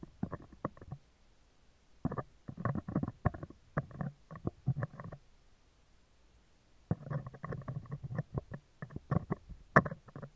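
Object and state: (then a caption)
Metal mesh microphone grille tapped and scratched. Metal tweezers tap and scratch the hollow, round woven steel wire mesh grille of a handheld microphone at close range. Clusters of quick, dry clicks and scrapes come in bursts with a silent gap in the middle. The sound is thick and low-mid heavy with no lingering ring.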